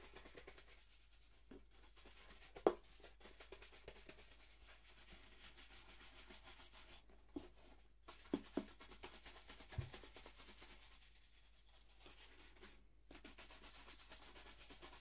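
A single hollow black polished leather dress shoe, held in the hand, is brushed vigorously with a wooden-backed horsehair shoe brush. Quiet, steady scratchy rubbing strokes fill the clip, broken by a few sharper knocks as the brush catches the shoe.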